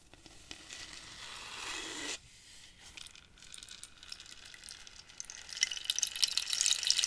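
Nails scratch a hollow dried-cactus wood rainstick filled with pebbles, making a bright, swelling hiss that cuts off abruptly after about two seconds, followed by quieter scratchy ticking. The stick is then tilted sideways, and the pebbles trickle through it in a dense, high, rain-like patter that grows louder toward the end.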